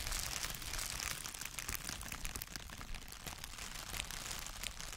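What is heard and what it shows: A long folded strip of clear, light, air-filled plastic bubble wrap is held in both hands in front of a microphone and crinkled and squeezed with the fingertips. The result is a quiet, steady, dense crinkling with bright, crisp crackles and a soft low rumble underneath, continuing for the whole clip.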